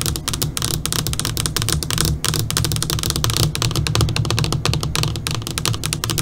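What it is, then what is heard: LCD computer monitor screen tapped with fingernails. Long pointed nails of both hands tap rapidly on the flat black screen of an LCD computer monitor. The result is a dense, continuous stream of sharp, bright clicks over a steady low hum.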